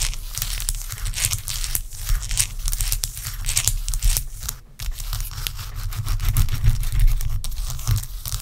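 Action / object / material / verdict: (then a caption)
scrape / block of ice / ice / none. A large, clear, solid block of ice resting on a towel is tapped and scratched with long acrylic nail tips. Rapid, irregular, crisp clicks and scratchy, crackling scrapes continue throughout over a steady low rumble, with a brief quiet dip around the middle.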